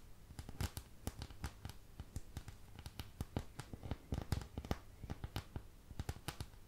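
Long nails scratch and tap over the domed wells of a thin, empty white plastic paint palette, held close to the mic. Quick, dry clicks and scratchy ticks come in an uneven stream, each dying away almost instantly. The sound is quiet and weighted toward a low thump beneath the crisp surface detail.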